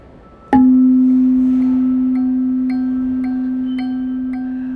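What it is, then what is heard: Tuning fork struck, sounding its C note. A metal tuning fork is struck once beside a second tuning fork tuned to the same C note that is held against a ping pong ball. It gives a clean, steady tone near 258 Hz that rings on for over four seconds with a slow fade. The second fork resonates and moves the ball, demonstrating resonance.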